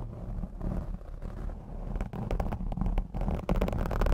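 Long blue acrylic nails on both hands scratch and brush across the black foam windscreen of a Blue Yeti X microphone. The result is a dense, muffled, low rumbling scrape with almost no brightness, growing busier with quick brushing bursts in the second half.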